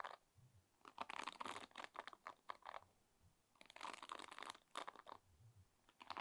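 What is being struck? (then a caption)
Wooden pin hairbrush. Nails and fingertips strum and scratch the wooden pins of a wooden pin hairbrush. The result is quiet, dry, clicky bursts of bright scratching that come in uneven clusters, with short silent pauses between them and no lingering ring.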